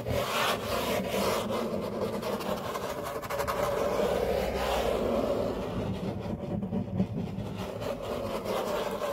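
Fingertips and short nails rub and scratch across a large, flat, solid grey laminate tabletop. The result is a steady, dry, continuous rasping scrape with a faint low hum underneath and a brief sharper tick near the seven-second mark.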